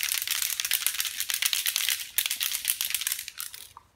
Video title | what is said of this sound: Sonax Wheel Rim Shield!!! | shake it up you can hear the bb's inside